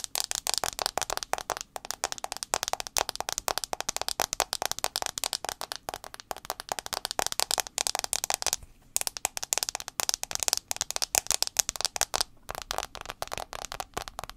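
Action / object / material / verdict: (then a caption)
tap / smartphone glass screen / glass / none. Fingernails tap quickly on the front glass screen of an iPhone 6s. The sound is a dense stream of sharp, bright clicks with almost no ring or low end, broken by brief pauses near 8.7 and 12.3 seconds.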